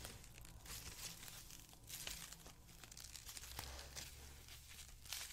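A white polyethylene foam packaging sheet, twisted into a rope, is squeezed and crumpled with the fingers. It makes a quiet, dense, bright crinkling and crackling with sharper snaps, over a steady low hum.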